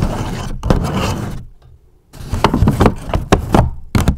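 Long acrylic nails scratch and tap near the top edges of a medium-size, hollow grey polka-dot paper gift bag. A dense, papery scratching rustle gives way to a brief near-silence, then a run of quick, hollow taps with low, muffled body and short ring.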